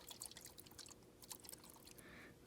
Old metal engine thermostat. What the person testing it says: if you shake it you can hear water